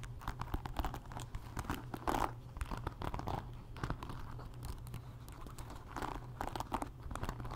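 Long nails scratch across the bristle pins and wooden body of a wooden paddle hairbrush. The result is a dense run of dry, crackly scratching and quick clicks centered around 900 Hz, with brief louder bursts over a steady low hum.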